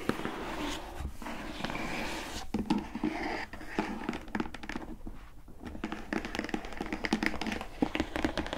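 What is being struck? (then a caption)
Printed cardboard box. Long nails tap and scratch along the top edge of a closed, hollow, glossy printed cardboard gift box. Quick, dry taps with a hollow, boxy knock are mixed with a scratchy, papery rustle. Each tap dies away almost at once.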